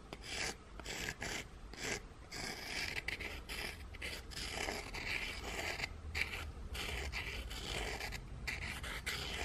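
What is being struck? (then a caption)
Gingerbread cookies. Two flat, solid, scalloped gingerbread cookies, one textured on the back, are held in the hands and rubbed and scratched against each other with fingertips and painted nails. Dry, bright rasping and scraping strokes run almost continuously, broken by brief pauses, with a faint low rumble underneath.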